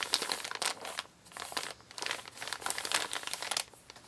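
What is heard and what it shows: A large, empty brown kraft-paper Amazon mailer bag made of recycled paper lies flat on a table while fingertips and nails of both hands rub, smooth and crinkle its crumpled surface. The result is bright, dry paper crinkling in dense bursts with short quieter pauses between them and almost no low end.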